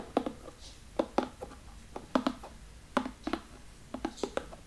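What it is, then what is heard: Cardboard box. Fingertips tap and scratch the lid and front edge of a large cardboard box resting on a table. Twelve short, dry, hollow taps in uneven clusters carry a mid-low body near 260 Hz, with faint scratching between them. Each tap dies away almost at once.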